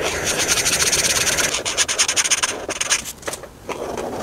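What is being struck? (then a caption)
Felt-tip marker on a thin paper page. A hand rubs a felt-tip marker back and forth over a thin paper coloring book page with a sunscreen tube drawing, filling in colors. The result is a bright, hissy scratching made of quick, uneven strokes. The scratching eases briefly near the end, then resumes.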